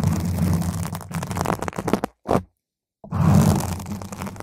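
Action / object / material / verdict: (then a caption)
scrape / foam microphone windscreen / foam / none. A round purple foam microphone windscreen is scratched first with a single nail, then with the long nails of both hands around its sides. The result is a dense, low, rumbling scrape and crackle that breaks into short bursts, drops to near silence for about a second, and returns at full intensity.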